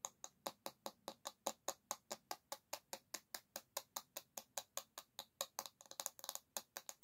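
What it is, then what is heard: Bamboo hairbrush back. Long nails tap and scratch the smooth, solid bamboo back of an oval paddle hairbrush held by its handle. About 35 short, dry, bright clicks follow one another at a steady pace with almost no low end and no ring. Near the end they bunch into a quicker flurry of taps and scratches.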